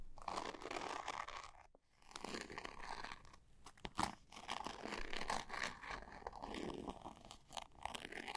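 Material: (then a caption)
Glitter fabric. A small zippered cosmetic pouch with a textured glitter surface is turned in the hands while long nails scratch and tap its sides. The result is a dense, crunchy scratching texture centered in the midrange, with a brief pause near two seconds and a sharper tap around four seconds.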